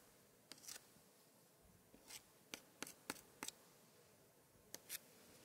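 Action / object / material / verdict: scrape / thick paper scrapbook page scratched with a thin pointer / paper / none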